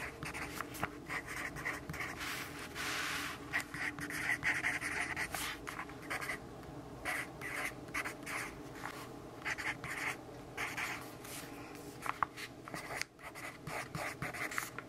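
A pencil writes with scratchy strokes on the lined page of a paper notebook resting on a table in sunlight. A continuous run of dry, bright scraping rises and falls with each stroke, punctuated by brief pauses and a few sharper taps, and there is almost no low-end weight.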